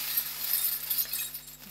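A package of metal costume jewelry rings clinks and jingles as it is handled and opened. The sound is a bright, high, glassy chiming that lasts the full clip and fades gently toward the end. The jingling shows that the package holds quite a lot of rings.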